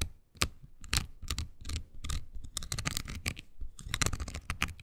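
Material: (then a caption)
Silicone. Long green nails scratch a small, oval, pink silicone body scrubber pad with nubs, solid and flexible. The result is a quick, uneven series of dry, bright scratching bursts over a soft low thump, with short quiet gaps between strokes.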